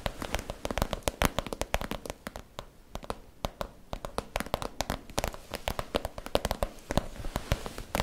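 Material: Vinyl plastic.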